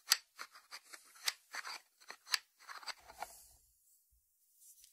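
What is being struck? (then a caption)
Small ceramic lidded dish. Fingertips and short nails tap and scratch the lid of a small, hollow white ceramic lidded salt dish, lid on, resting on a wooden board. Quiet, bright, crisp clicks and scratchy taps come at an irregular pace with almost no ring, then give way to near silence with a faint scrape at the end.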